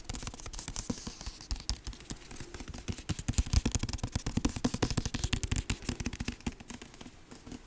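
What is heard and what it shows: A dark hardcover book with a cardboard cover is held close and moved around while fingertips tap quickly on its cover and spine. Rapid, irregular, dull thuds fall about three or four per second, mostly low and deep with short clicky tops and almost no ring. They swell louder in the middle of the clip before easing off.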